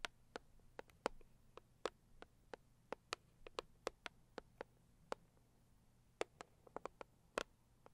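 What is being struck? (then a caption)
Rigid cardboard box tapped with long nails. Long purple acrylic nails tap and scratch the lid of a hollow, medium-size, pink floral Saviland rigid cardboard box. About 24 short, dry, bright clicks land at uneven intervals with almost no ring. A faint low hum sits underneath.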